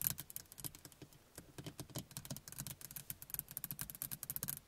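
Long nails on both hands tap and scratch the glass face of a small rearview mirror in a plastic housing, mounted on the windshield inside a car. A quick, uneven stream of dry, clicky taps with bright highs and a soft low body, each dying away almost instantly, with light scratching between them.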